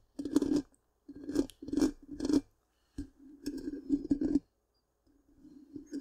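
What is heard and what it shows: Long pink-painted nails scratch the black, round, hollow metal mesh grille of a large microphone. The result is a series of short, raspy scratching bursts with a hollow, humming resonance, separated by brief silences. The sound ends in a softer, quieter patch of scratching.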